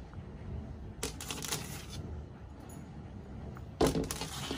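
Long white nails tap quickly on the flat surface of a large, solid, fixed white-painted interior door panel (wood or MDF) next to its trim. Two bursts of rapid, bright, clicky taps are heard: a cluster in the first half and a sharper, louder flurry near the end. Between them sits a quiet, low background hum.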